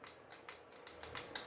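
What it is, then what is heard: Loose rattling outer barrel on airsoft pistol. A non-upgraded AWC Glock 18 airsoft pistol is shaken with one finger, and its outer barrel rattles loosely because it is not fixed. About eight quick, bright metallic clicks come in an uneven run, each dying away almost at once with little low end.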